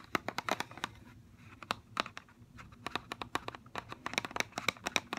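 Fingernails tap and scratch the hollow clear plastic shell of a mascara blister pack on a cardboard card. A rapid, uneven series of sharp, bright plastic clicks and ticks comes through, each dying away almost instantly. Soft scratchy rustling fills the gaps between taps.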